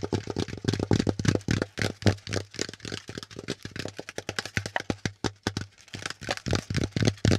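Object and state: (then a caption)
Corrugated cardboard packaging insert. Fingertips and nails tap and scratch a brown corrugated cardboard packaging insert with hollow pleats. The result is a quick, uneven run of dry, hollow taps with a low thump underneath, mixed with brief scratchy rasps. The taps die away almost at once.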